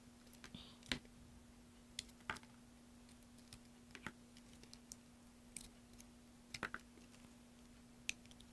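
A craft knife blade is drawn across a solid green bar of soap held in one hand, scraping and carving off shavings. Quiet, scattered sharp clicks and short bright scrapes come at irregular intervals, each dying away almost at once. A faint steady low hum runs underneath throughout.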